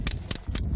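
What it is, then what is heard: Fresh live cockles (hard pebble-like clack). Fresh live cockles are knocked together by hand, giving four short, hard, stone-like clacks with bright upper edges and almost no ring. The hard, pebble-like sound marks them as fresh, good cockles.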